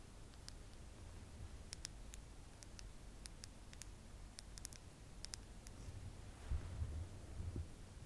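Long acrylic nails tap along the slim pink handle and rose-gold metal ferrule of a makeup brush held in one hand. Quiet, sharp, bright clicks come at an irregular pace over a low, steady rumble, with a few duller, louder bumps near the end.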